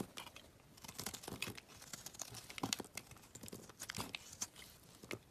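A metal utility knife blade shaves chunks off a solid gray rectangular bar of soap held in the hand. The carving gives a run of quick, dry, bright scraping crunches and crumbly crackles with almost no ring, over a quiet background.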